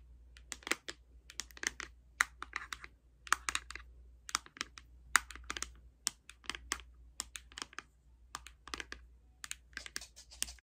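A closed, flat pink Ciate London cardboard makeup palette is held in the hands and tapped and scratched with long red nails. Quick, dry, bright clicking taps come in irregular bursts with faint scratching between them, each dying away almost instantly over a steady low hum.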